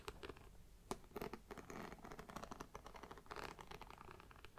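Fingernails tap and scratch the hollow side panel of a black pebbled faux leather mini backpack with a zipper and brown trim. The result is a quiet, continuous stream of quick, dry clicks and scratchy rasps with a hollow mid-low tone and little ring. A sharper tap stands out near the one-second mark.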